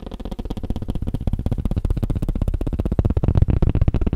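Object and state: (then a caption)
Tablet case being tapped. Fingers tap rapidly on a tablet case, producing a quick, steady stream of dull, low-pitched knocks. Each tap is short and dry, with no ringing and very little high end.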